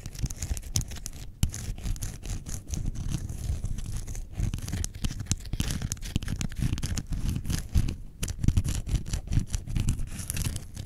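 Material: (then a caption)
Faux leather. Long painted nails scratch across the front panel of a small, closed grey-brown faux leather zip wallet with a metal badge, lying on white fur. The result is a continuous run of dense, rapid, dry scratching strokes, mostly low and muffled, with brief bright streaks at each stroke.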